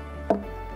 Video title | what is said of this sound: Jamaica Magazine - 22.04.2024 | Because it's hollow inside. The more it grows old, the more it expands hollow.